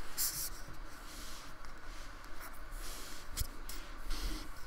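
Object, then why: Polystyrene foam block. A fine paintbrush is rubbed in strokes across the rough surface of a small painted block of solid polystyrene foam held down by fingertips. The result is a soft, continuous dry scratching and brushing sound with brief brighter swishes over a low, quiet rumble.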